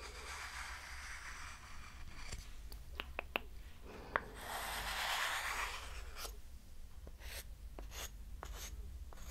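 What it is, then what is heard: Wooden hexagon block, scratched and tapped. Long nails scratch and tap a small, solid, light pine-wood hexagonal block held close, with possibly a second block stacked behind it. Soft dry scratching and a few sharp, bright clicks give way to a louder, breathy rubbing swell in the middle before the scratching and taps continue over a steady low hum.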